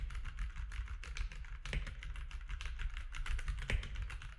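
Fingertips of both hands type steadily on a compact grey-and-white plastic mechanical keyboard with plastic keycaps resting on a desk. The dense, quick run of short, clacky keystrokes over a low thudding base has a couple of slightly louder presses along the way.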